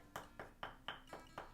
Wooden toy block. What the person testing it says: I can knock it and it sounds different this is a real um wooden block here